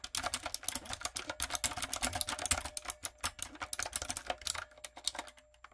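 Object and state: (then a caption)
Mechanical keyboard with plastic keycaps. Long coffin nails and fingertips rapidly tap a backlit, typewriter-style mechanical keyboard with round brown plastic keycaps on a dark frame. The result is a quick, steady stream of bright, sharp clicks with little low end. The clicks trail off and quiet near the end.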